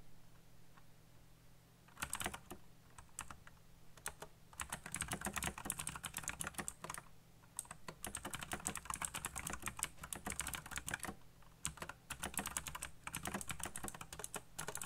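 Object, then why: Plastic mechanical keyboard. Fingertips type fast on a backlit black plastic mechanical keyboard with RGB lighting and hollow key switches. Dense bursts of sharp, bright key clicks run in rapid runs with brief pauses, over a low steady hum.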